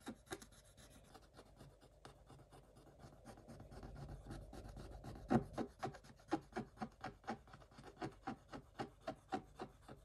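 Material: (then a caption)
Coated paper. A hand holding a wooden stick scrapes the black coating of a scratch-art page in a spiral notebook. It starts with quiet, soft rubbing; after about five seconds a louder scrape leads into a quick run of short, dry, rasping strokes, roughly four per second, with no ring after each one.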